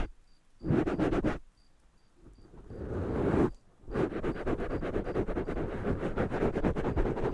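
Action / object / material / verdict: scrape / foam microphone windscreen / foam / none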